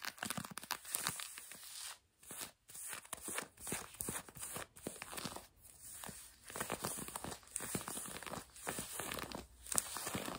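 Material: Denim.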